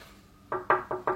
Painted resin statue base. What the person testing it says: ça fait le même bruit que du bois. C'est pas du bois, mais... Ouais. C'est de la résine